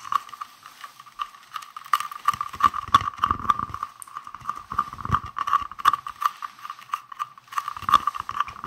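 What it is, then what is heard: Hollow plastic case. A palm-sized, hollow, green translucent round plastic case is held in both hands and tapped rapidly with fingertips and nails. The result is a dense stream of short, dry clicks and taps over a steady hollow tone around 1.1 kHz, with occasional soft low thumps.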